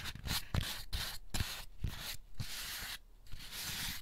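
Fingertips rub and scratch the textured underside of an empty white molded paper pulp egg carton with hollow cups. Repeated dry, papery scraping strokes come in bursts with brief quieter gaps, pairing a bright, hissy texture with soft low thumps.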